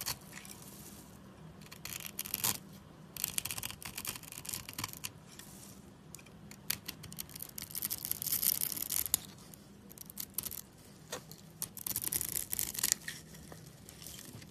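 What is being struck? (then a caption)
Bar of soap scraped with a steel blade. A steel utility knife blade scores and scrapes a dry, solid light-blue bar of soap, sending crumbs falling. The sound is a run of bright, crisp scratching and crunching rasps in uneven bursts, with the loudest stretches of dense scraping separated by quieter pauses. A faint low steady hum sits underneath throughout.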